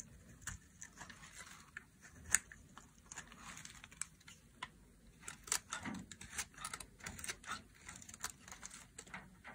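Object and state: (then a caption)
Dry soap bar being carved. A solid, dry pale green soap bar held in the hand is carved into thick flakes with a metal blade. A quiet, rapid series of short, crisp, bright scraping clicks follows, each dying away almost instantly over a faint low background.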